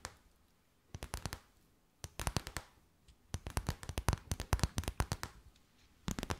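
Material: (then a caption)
Plastic. A clear, stiff, empty transparent plastic bag is crinkled and tapped with long white nails. Quick, sharp clicks and crackles come in short clustered bursts separated by brief quiet gaps, each tap dying away almost at once.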